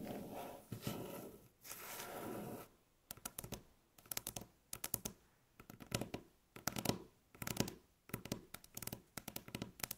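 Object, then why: Wooden tabletop tapped and scratched with fingernails. Long natural fingernails scratch and tap rapidly on a solid, light-colored flat wooden tabletop. Quiet, steady scratching hiss fills the first few seconds. Then come bursts of sharp, dry clicks in quick clusters with almost no ring.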